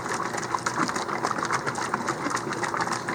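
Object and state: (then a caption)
Nutrient bottle with weighted agitator being shaken to mix. A FloraNova nutrient bottle is shaken hard with a weighted agitator of about half an ounce inside. It makes a fast, steady rattle of bright clinks centred near 1 kHz, each ring short. The agitator strikes the bottom of the bottle to stir up the thick, settled nutrient and mix it.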